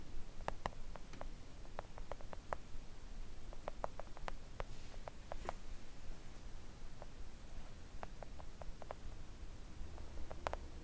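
Long acrylic nails tap gently on a flat, thin, solid pink silicone nail art mat, with perhaps a light scratch across its surface. The taps are soft, short and dull, scattered irregularly over a quiet, steady low background hum.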